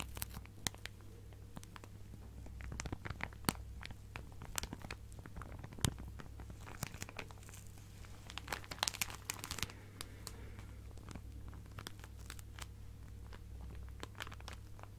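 A clear plastic zip-lock bag full of fabric scraps is held close and crinkled and scratched with long nails. Quiet, sharp crinkles and bright scratchy clicks come in irregular bursts, busiest in the middle, over a steady low hum.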